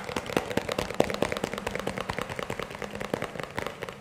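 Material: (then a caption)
Plastic. A small, hollow, empty-looking white plastic round tub or bowl is held in the hands and tapped and scratched with fingertips and nails. Fast, irregular taps give short, dry clicks with a hollow tone around 560 Hz, mixed with bright scratching in between.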